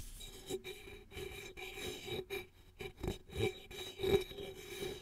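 Long fingernails scratch and click at the pull tab and top rim of a single red aluminum soda can, hollow and likely empty, held close to the mic. Irregular raspy scrapes alternate with sharp clicks, each bringing out a faint metallic ring with a steady mid tone and bright overtones.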